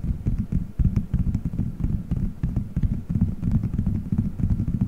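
Fingertips squeeze, rub and scratch colorful gelatin gummy bears stuck all over a solid dome-shaped microphone head. The result is a dense, irregular stream of muffled, low squishy thumps and soft sticky crackles, with little high-end content.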